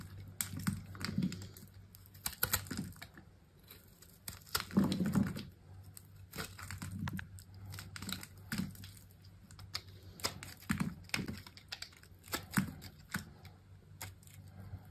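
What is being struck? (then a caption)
Bar of soap cut with a knife blade. A utility knife blade cuts and scrapes thin flakes and cubes off a solid, rectangular, palm-sized bar of blue soap held in one hand. Irregular bursts of crisp scraping, crackling and crumbly snaps repeat throughout over a steady low hum. Flakes and small cubes are shaved off the bar's surface.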